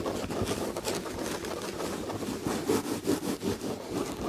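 Long red fingernails scratch the textured chenille tapestry fabric on an upholstered chair back. The result is a continuous, rhythmic rasping rustle that swells in repeated strokes, with its body in the low-mids and a bright, airy hiss above.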